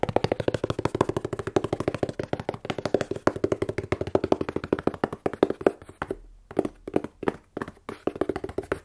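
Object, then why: Corrugated cardboard box. A closed, hollow, plain corrugated cardboard shipping box is held sideways and tapped with long nails and fingertips. Dozens of quick, dry, hollow taps with a midrange thump near 390 Hz die away almost instantly. The taps run in a steady rapid flurry, pause briefly around six seconds, then return in sparser bursts.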